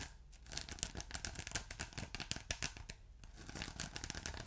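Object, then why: Polyethylene foam block. Fingertips and short nails scratch a ridged blue polyethylene foam block with a glittery texture that is soft and solid. The result is a quiet, dense, bright crackle of quick rasping strokes, like tearing or crinkling, that briefly thins out twice before picking up again.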